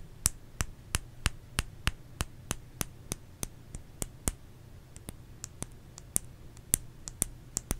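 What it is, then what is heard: Bar of soap. Fingers tap a solid bar of soap 23 times at an uneven pace of about three per second, each tap a sharp, dry click with a bright top and almost no ring. A low steady hum sits underneath.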